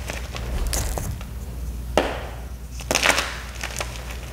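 A small solid gym chalk cube with a black iron oxide coating and crumbled white chalk is crushed in both bare hands over a pile of chalk pieces. Dry crunches and crumbling crackles come in bursts over a low steady background, with sharper cracks near the two-second and three-second marks.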